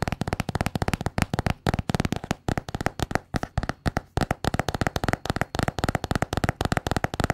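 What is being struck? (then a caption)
Small notebook with a paper cover. A small solid notebook with a patterned paper cover is tapped and scratched with long painted nails. About 44 quick, dry taps come in rapid irregular bursts, with dull low thuds and almost no ring after each one.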